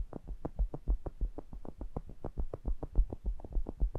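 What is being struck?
Metal mesh grille of a small pencil condenser microphone.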